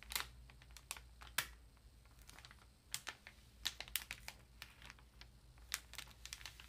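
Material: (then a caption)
Plastic, paper. Long nails and fingertips tap and rub the thin, crinkly plastic wrap on a ream of printer paper lying flat as a solid block. A slow string of sharp, bright clicks and crackly rustles sounds over a quiet low hum, each tap dying away almost at once.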